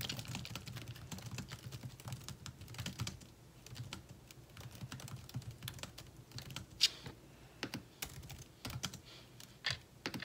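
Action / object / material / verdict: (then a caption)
tap / plastic laptop keyboard keys / plastic / none. Both hands type fast with their fingertips on the plastic keys of a thin, metal-bodied laptop. The result is a steady run of short, crisp, bright clicks with a soft low thump beneath, and a few louder taps stand out near the end.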